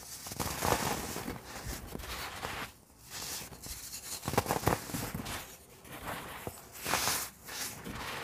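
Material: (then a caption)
Baking soda. Both hands squeeze and rub palm-sized compacted blocks of blue-dyed baking soda powder, solid and crumbly and piled in a loose heap, crumbling them apart with fingertips and palms. A steady dry, gritty crunching and crackling fills the clip, broad and bright with brief quieter pauses between bursts of crumbling.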